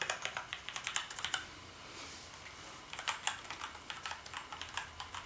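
Fingertips type on the keys of a black plastic gaming keyboard, producing about 26 bright, short plastic clicks with almost no low end. A burst of keystrokes is followed by a pause of roughly a second and a half, then the typing resumes.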